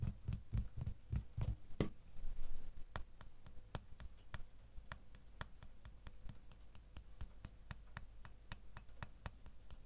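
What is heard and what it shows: A small solid metal door key is held and then laid in an open palm while a fingernail taps it. The first couple of seconds carry soft, low thumping handling taps. These give way to a steady run of short, sharp, bright metallic ticks with almost no ring.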